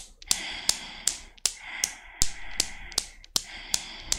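Long black nails start the swing of a desktop chrome steel Newton's cradle with five solid chrome balls, and the steel balls knock together repeatedly. Eleven sharp, bright clicks come at a steady, slightly uneven pace, each followed by a short metallic ring with high tonal overtones.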